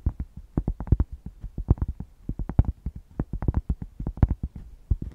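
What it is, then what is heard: Thick cork square. A thick solid cork square held in both hands is scratched and tapped with long nails, making a quick, uneven run of about thirty dull, deep thuds. Each tap is short and dies away almost at once, with a muffled, bassy body and little brightness.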